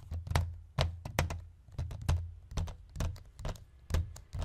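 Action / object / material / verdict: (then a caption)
tap / plastic DVD case / plastic / none. Fingertips and nails of both hands drum quickly on a hollow white plastic DVD case lying on a wooden chest. The result is a fast, uneven patter of short, dry taps, each with a deep hollow thump and a bright clicky edge that dies away almost at once.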